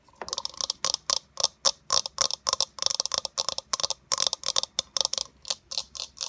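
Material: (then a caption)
Plastic. Long nails tap quickly on a hollow, fist-sized white plastic eyeball sphere with a printed blue iris, making about 25 sharp, dry clicks. Each tap is bright and crisp with a faint hollow body, stopping almost instantly without ringing.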